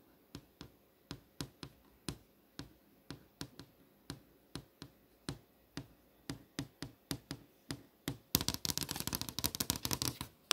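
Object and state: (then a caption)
LCD monitor screen tapped with a fingernail. A long fingernail taps on the solid surface of an LCD monitor screen showing posters, making short, dry clicks with a bright edge and almost no ring. The taps come separately at a steady pace for about eight seconds, then speed up into a dense, louder flurry of rapid tapping to the end.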